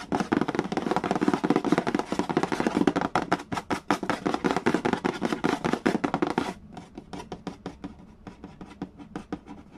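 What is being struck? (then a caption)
Cardboard board game box lid. Fingertips and nails scratch and trace quickly across the printed cardboard lid of a large, flat, hollow Mastermind board game box. Dense, rapid strokes carry a hollow, papery low-mid body with a scratchy high edge for about six and a half seconds. The sound then drops to quieter, sparser scratches until the end.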